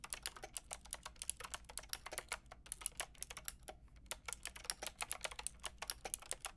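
Fingertips with long red nails rapidly tap the round pink and grey plastic keycaps of a Lofree mechanical keyboard with a white plastic case. A quick, steady stream of sharp, bright plastic clicks, each dying away almost instantly, plays over a faint low hum, with a brief pause partway through.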